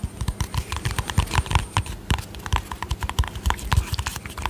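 Fingernails tap rapidly on the lid and sides of a small round white plastic cosmetic tub with a yellow lid. The taps come in a quick, uneven stream of short, dry knocks, each with a dull low thump and a light clicky top. Every tap dies away almost at once.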